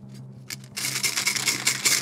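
A charity collection container holding 2-euro coins is shaken, and the coins jingle and rattle in quick, bright metallic clinks. A steady low hum sits underneath, and the rattling starts softly before growing into a dense run of overlapping clinks.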